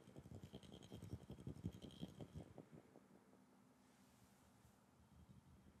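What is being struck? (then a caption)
Glass bottle. A glass bottle is tapped in a quick, uneven run of light taps with an added echo effect, giving a low, hollow thump under faint bright ringing. After about two and a half seconds the tapping stops and only a soft, quiet tail remains.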